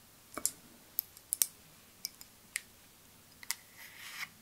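A partly filled clear glass perfume bottle with a white rounded cap is tapped with long nails. Quiet, bright, very short clicks and ticks come at irregular intervals, with almost no low end, ending in a soft brief scraping swell.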